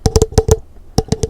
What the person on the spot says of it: It has a great echo sound